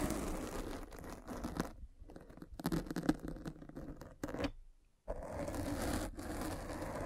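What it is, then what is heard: Foam microphone cover rolled with a spiked roller. A metal-spiked derma roller is rolled across the black foam windscreen of a microphone. It makes a dense, scratchy crackling rustle centred in the low mids, with brief quieter gaps near 2 seconds and a near-silent pause just before 5 seconds before the rolling resumes.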